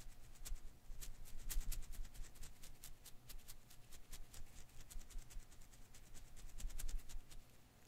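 A hand-sized blue and green rubber-filament Koosh ball is held in one hand while the fingers quickly shake and rub its strands. The result is a dense, continuous patter of soft, bright ticking and rustling over a quiet low rumble, swelling and fading slightly throughout.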